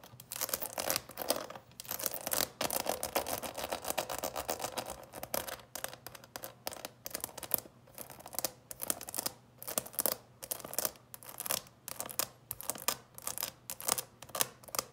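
A small, hollow, clear plastic coffin-shaped box with its lid closed and full of candy is scratched and tapped on its top surface by long purple nails. The sound is a bright, dry mix of rapid scratching and crisp plastic taps with very little ring. The scratching runs in bursts, interrupted by many sharp taps.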